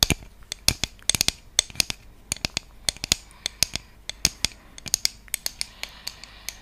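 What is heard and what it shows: A round, flat wooden trivet with cutouts is held in both hands and scratched and tapped with long fingernails along its surface and edges. The result is an irregular series of sharp, bright clicks and taps that die away almost instantly, with faint scratchy noise between them and very little low end.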